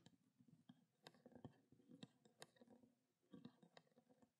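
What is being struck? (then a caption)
Small plastic water bottle with water. Long black nails tap on the cap top and the labeled body of a small, clear plastic water bottle holding water. The result is an irregular series of quiet, soft taps, each a short hollow thud with a bright clicky edge that dies away almost at once.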